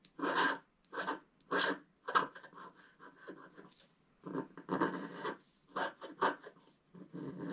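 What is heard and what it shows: A wooden stick scratches along the top edge of a flat black wax-coated scratch art paper card. Short, dry rasping strokes come in uneven bursts with brief pauses between them, each stopping cleanly with no ring.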